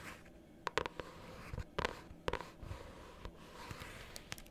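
A pink hardcover notebook held upright has its cover tapped and scratched with long nails fitted with metal paper clips. Sharp, bright clicks come in scattered clusters over a soft, rustling scratch, and each tap dies away almost instantly.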